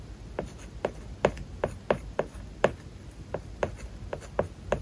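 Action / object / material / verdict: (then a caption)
scrape / plastic stylus on a glass tablet screen with matte plastic film / plastic film / none. A plastic stylus held in the fingers scratches across a flat iPad glass screen covered with a solid matte plastic paper-like film while writing Japanese characters. About 13 short, dry tapping scratches are heard, each a quick tick centered in the mid range around 600 Hz with almost no ring. They come at an uneven handwriting pace over a quiet, faint background.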